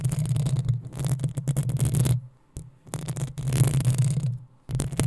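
Long acrylic nails on both hands scratch the rounded, hollow metal mesh grille of a black USB condenser microphone. The result is dense, crackly scraping with a bright, fizzy top over a heavy low rumble. It comes in three bursts separated by two brief near-silent pauses.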